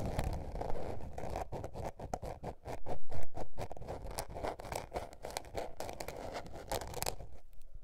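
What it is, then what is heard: Spiral notebook with paper cover. Long painted nails scratch a small blue patterned spiral-bound paper notebook lying flat, making a quick series of dry, rasping strokes with a low, muffled body. The strokes swell to their loudest just past three seconds, then settle back into steady, softer scratching before stopping near the end.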